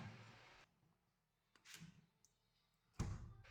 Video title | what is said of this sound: 茄子蒂煮⼀煮，98 歲婆婆喝了⼀輩⼦，咱們⽼祖宗的⽅法省錢實⽤。【鵬鵬生活妙招 X 美食房】#生活妙招 #茄子蒂妙用 #省錢技巧 #養生秘訣 | Bạn có thể nghe thấy tiếng gõ khi gõ vào chúng